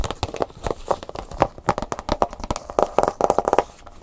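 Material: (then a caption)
Plastic. A plastic blister pack with a cardboard insert is held in both hands while fingernails tap and scratch the hollow clear plastic bubble over a flash drive. The result is a rapid run of about 21 short, sharp clicks with a hollow plastic tone near 800 Hz, broken up by brief crinkling scratches. Each tap dies away almost instantly.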